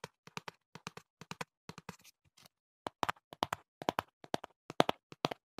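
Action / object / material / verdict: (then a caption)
tap / cardboard box / cardboard / none. Fingertips tap the back panel of a hollow printed cardboard box held to the right of the mic, giving 26 quiet, dry, hollow taps with a midrange tone and no ring. The taps come in an uneven rhythm, lighter at first, then pause briefly before a louder, busier run toward the end.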